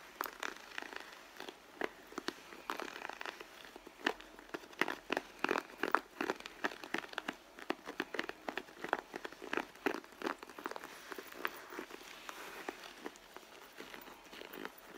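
Long blue nails tap and scratch the side of a red pebbled-leather handbag. The result is a quick, irregular run of dry clicks and crinkly scrapes, sharp and short with almost no low end, sitting over a faint hiss.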